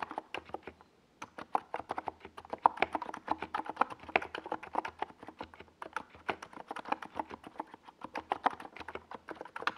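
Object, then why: Plastic mechanical keyboard with tall plastic keycaps. Fingertips of both hands type steadily on a NiZ Plum Atom 68, a compact 68-key plastic mechanical keyboard with a white plastic case and tall purple and yellow plastic Domikey Gas Attack SA keycaps, resting on a desk pad. About fifty quick, dry plastic clacks come in an uneven stream, centered in the mids with a bright click on top and almost no ring. There is a brief pause just after the first second.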